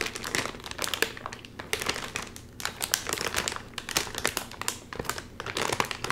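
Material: Metallized plastic.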